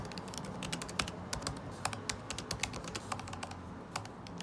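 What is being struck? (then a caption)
Laptop keyboard with plastic keycaps. Fingertips, one wearing a ring, type fast on a MacBook Pro butterfly keyboard with plastic keycaps set in an aluminum body. Quick, sharp, bright taps land in an uneven stream, each dying away almost at once. Underneath runs a quiet, steady low hum.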